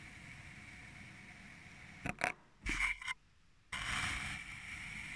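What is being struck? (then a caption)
Kinetic sand in a glass tumbler. A thin metal needle or blade cuts slits into purple kinetic sand packed into a small clear glass tumbler, cutting and scraping the packed surface. Over a faint steady hiss, two quick bright scrapes are followed by a longer gritty scrape and a brief near-silence. A sustained bright scraping stroke then carries on to the end.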